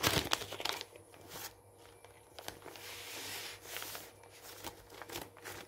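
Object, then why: Glossy paper magazine page. A hand rolls and crumples a page of an open glossy paper magazine on a wooden table, then presses it flat with the palm and fingertips. Loud, bright crinkling bursts open the clip, then give way to quieter, irregular papery rustles and crackles. A faint steady low hum sits underneath throughout.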